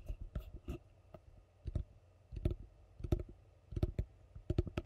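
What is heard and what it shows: A large, hollow, empty yellow plastic bowl is held upside down and tapped and scratched on its base with long fingernails. Irregular clusters of quick, dull, low taps with dry clicking edges come through, with soft scratching in between. Each tap stops almost instantly with no ring.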